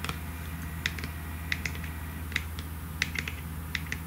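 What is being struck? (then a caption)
Plastic lotion bottle with cap. Long nails tap the cap and sides of a pink plastic lotion bottle with a cap. They make sharp, bright clicks at an irregular, unhurried pace. The clicks die away almost instantly over a steady low hum.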